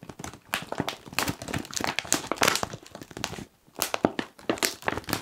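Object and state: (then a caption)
Plastic crisp packet crinkled. A medium-sized, puffed and apparently full Kettle crisps bag of foil-lined plastic is gripped and crinkled by the fingers of both hands. It makes a dense run of bright, sharp crinkles and crackles, with a brief lull near the middle before the crinkling picks up again.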